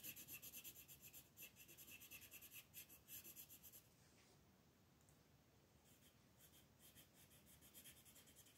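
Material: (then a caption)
Paper. A dark green wooden colored pencil, held in a hand with long red-painted nails, rubs and scratches back and forth across a large flat sheet of thin white paper printed with a mandala, lying on a table. For the first four seconds it makes a quick, rhythmic run of distinct, bright, scratchy strokes. It then settles into a softer, steadier rubbing hiss with faint pulsing strokes.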